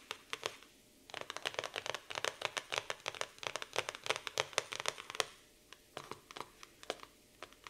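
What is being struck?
Laminated cardboard notebook cover.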